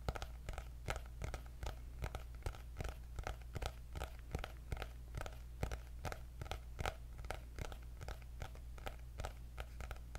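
Long nails scratch and tap the cardboard cover of a white hardcover paper notebook with gold dots. The result is a quiet, steady run of short, crisp taps and scratchy crunches over a constant low hum.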